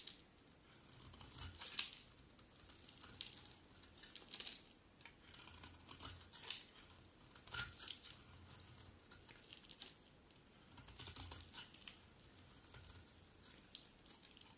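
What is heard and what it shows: A metal utility blade carves and scrapes brittle flakes off a round, solid bar of dry red-and-white striped soap held in the hand. Quiet, bright, crisp scraping and crackling come in uneven bursts, each dying away almost at once, with little low end.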